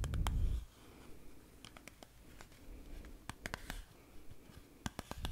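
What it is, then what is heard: Cardboard chewing gum box tapped with fingernails. Long painted fingernails tap and scratch the sides and barcode face of a small, hollow, printed Glee Gum cardboard chewing gum box as it is turned in the hands. A brief low rumble of handling opens the clip, then quiet scratching is broken by quick, sharp, bright clicks at an uneven pace.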